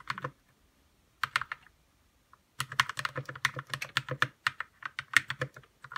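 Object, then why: Plastic mechanical keyboard. Fingertips type on a white 60% RK61 mechanical keyboard with plastic keycaps, lubed red linear switches, RGB backlight and a hollow case sitting on a desk. Short bursts of keystrokes give way to a denser run of crisp clacks. Each is a bright, dry tap with a slight low thud and almost no ring, separated by brief pauses.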